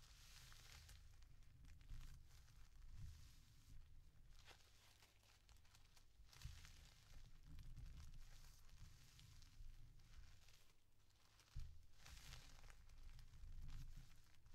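A stack of thin yellow tissue paper on a table is folded accordion-style and creased with fingertips and nails. Soft, close crinkling and rustling rises and falls in bursts over a steady low rumble.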